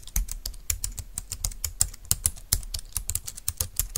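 Both hands type with their fingertips on a compact, thin, dark-green plastic Bluetooth wireless keyboard lying on a desk mat. A rapid run of about 25 keystrokes gives soft low thumps under bright, crisp clicks that stop almost at once. The typing is steady and uneven in loudness, with a few sharper key presses standing out.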